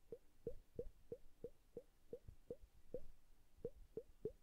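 A glass bubble hourglass filled with blue liquid is held upright and flipped by hand, and fingertips tap it lightly as the liquid plops and bubbles. A steady series of short, soft plops, each with a dull pitch around 420 Hz, is heard over a quiet low rumble. Each plop dies away almost at once, with no ring.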